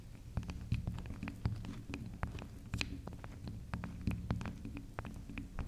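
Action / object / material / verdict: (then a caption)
tap / small round bar of soft soap / soap / none. Long acrylic nails scratch and tap the top of a small, solid, round pink spiral soap that is soft. Many quick, dry taps and scratches click out sharply and stop at once, over a steady low hum throughout the clip.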